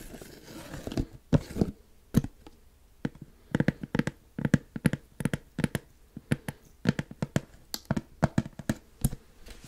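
Fingertips and nails scratch the top of a black plastic screw lid on a large white plastic supplement tub. A soft rustling opens the clip, then dozens of short, dry scratching and tapping strokes follow in quick, uneven bursts. The sound is close and dull with little ring, centered low around 160 Hz.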